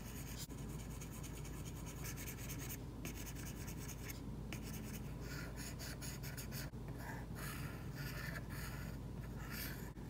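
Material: Plastic film.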